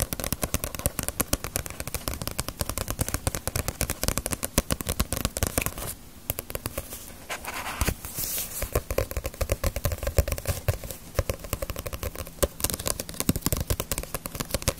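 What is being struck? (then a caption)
Paperback book with glossy paper cover. A small, solid paperback manga of Ace of Diamond with a glossy paper cover is held in the hands and tapped and scratched with long nails on its glossy jacket and spine. Rapid, dense, dry clicks and taps mix with scratchy, papery scraping, each tap dying away almost instantly, with a brief run of softer scratching near the middle.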